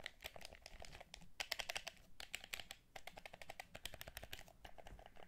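Fingertips tap and press the buttons and touchpad of a hollow, transparent plastic DualShock 4 controller held in both hands. It makes a quick, uneven run of crisp plastic clicks and taps that sound like keyboard typing, bright and centered near 2 kHz with a light low thump. Each click stops almost instantly, with brief pauses between bursts.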